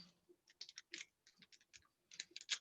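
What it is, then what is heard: Pin tumbler lock with a missing spring (loose pin). A metal pin tumbler lock with a missing spring in one of its chambers is shaken after being pounded down to seat the pin. A loose pin rattles inside with quick, bright, dry ticking clicks that die away almost instantly. The rattle is the sign of the missing spring.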